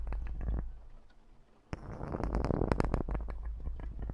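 Fingertips in black rubber or nitrile gloves scratch and rub the hollow metal mesh grille of a large USB condenser microphone. The result is a deep, boomy rumble with rapid, uneven crackling scrapes. A brief quiet lull follows, then a denser burst of scratching resumes.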